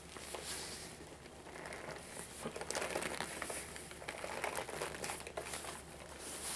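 A small, hollow, black faux leather Toothless backpack is held in both hands while fingers and nails tap and scratch its front and top. The result is a quiet, irregular run of soft taps and crinkly, scratchy rustles over a faint, steady low hum.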